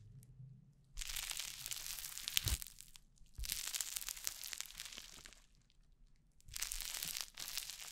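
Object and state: Crunchy foam-bead slime (floam).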